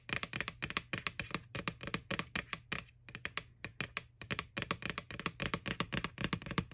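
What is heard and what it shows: Long nails tap and scratch across the printed face of an empty, white, hollow plastic ghost Halloween bucket from McDonald's lying on its side. A rapid run of dry, bright clicks and brief scrapes comes in uneven bursts, each tap dying almost instantly over a faint low hum.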